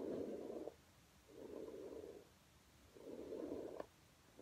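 A hand with painted nails brushes a flat red low-pile fabric rug on the floor with a plastic paddle hairbrush with bristles, rubbing the pile in strokes. Three soft, scratchy midrange swishes are heard, separated by quiet pauses. The first and last strokes end with a brief sharp tick.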